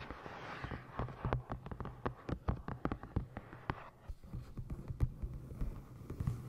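A medium-size solid hardcover book with a navy moth-and-moon printed cover, held upright on the microphone, is tapped and scratched across the cover with long green-painted nails and fingertips. A brief soft scratching opens into a rapid, uneven series of short, dull, bass-heavy taps that die away almost instantly. A low steady hum sits underneath throughout.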